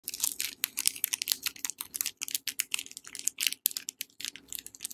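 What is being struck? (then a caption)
Soap bar in a paper wrapper. A palm-sized, solid Safeguard soap bar in a yellow paper wrapper is held in both hands and tapped and scratched with long dark-painted nails. The result is a quick, uneven run of crisp, dry clicks and papery scratches, bright and high with almost no low end and no ring after each tap.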